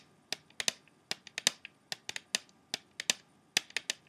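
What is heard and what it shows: An open plastic CD jewel case, held in one hand, has its clear plastic tray tapped quickly with the fingertips and short nails. About 18 sharp, bright, dry clicks come in irregular bursts, each dying away almost at once, with no low-end body.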